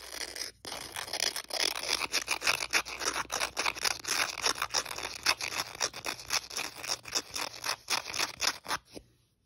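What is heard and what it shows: Fingers and nails scratch and rub the abrasive surface of a thin, flat, dotted white emery board nail file held close. Bright, hissy scraping strokes repeat quickly, about three to four per second, in an uneven rhythm with no low end. The strokes stop just before the end, leaving near silence.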